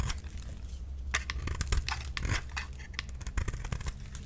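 A solid pink oval bar of soap is scraped and shaved with a utility knife, and thick curls peel off. Many short, dry scraping and crunching strokes sound over a steady low hum, each with a bright, crisp edge.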